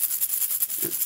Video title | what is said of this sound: Episode 8 – Early Years (K-2) | the seeds are still inside, so it rattles when you shake it